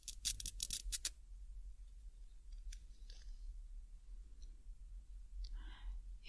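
A small, thin, solid, flat green nylon hook-and-loop cable tie is held in both hands while fingertips and nails pull the hook side against the loop side and peel it apart. A quick series of bright, crackling rips in the first second is followed by quieter, scattered scratches and a soft rustle near the end over a low background hum.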